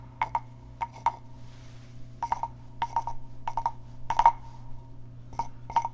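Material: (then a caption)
Wood. A small hollow carved wooden frog guiro is tapped and scratched on its back with fingernails. Quick sharp clicks come in pairs and short clusters, each with a hollow woody tone that dies away almost at once. A faint low hum runs steadily underneath.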